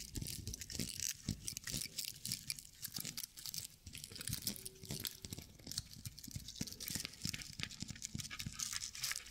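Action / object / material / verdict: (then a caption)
scrape / small straw decorative owl figurine / straw / none. Long nails and fingertips scratch the dry straw or sisal-like fibers on the underside of a small decorative straw owl figurine held close to the mic. Dense, crunchy, crackling scratches run throughout, bright and hissy with soft low thumps underneath.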